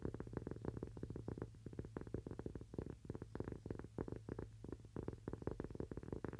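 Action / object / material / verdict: tap / thin cork coaster / cork / none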